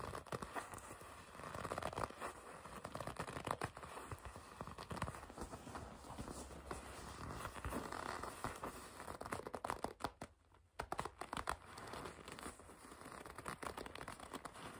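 A red leather jacket panel is gripped, rubbed and scratched with long red nails, making dense crinkling, creaking and scratchy rustles with sharp crackles throughout. The sound is steady and textured, broken by a brief near-silent pause at about 10.5 seconds before the scratching resumes.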